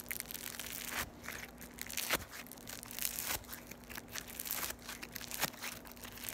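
A solid piece of yellow floam (foam beads in slime) is squeezed and pulled apart into strands by fingers with long nails. It makes a dense, bright crackling and crunching with a tearing quality, and sharper snaps stand out through the clip. A faint steady low hum runs underneath.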